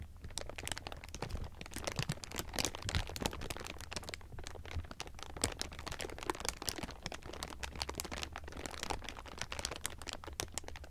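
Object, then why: Thin plastic film. Two hands squeeze and crumple bunched thin clear plastic sheeting. The result is a continuous stream of dense, bright crinkles and sharp crackles over a steady low hum.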